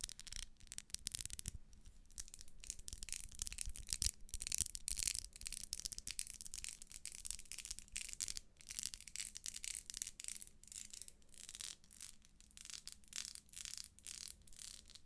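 Long nails scratch across the vertical ribs of a small, solid pink ribbed wax pillar candle held close. The result is a quiet run of quick, bright, rasping scrapes that come in dense bursts, with a faint steady low hum underneath.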